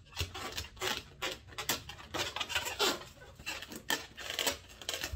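Fingertips and nails tap and rub the top of a single inflated, medium-size light blue latex balloon, hollow and filled with air, held by its knot end. Bright, scratchy squeaks and dry taps come in quick irregular bursts from the stretched rubber surface, each dying away almost at once.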